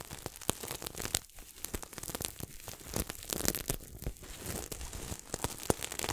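Fingertips scratch and rub the sequins of a red and silver sequin throw pillow held close to the microphone. The result is a dense, crackly scratching with sharp, bright clicks and ticks over a steady rustle that swells and dips throughout.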